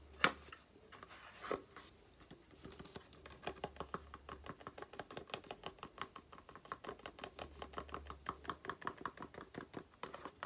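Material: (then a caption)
Cardboard. Long painted nails tap and scratch a small, empty-looking rectangular cardboard box of aloe face cream held in the hands. It produces a quiet run of quick, dry, hollow ticks with faint scratching between them, the paper-thin walls giving each tap a light, papery click that dies away almost instantly.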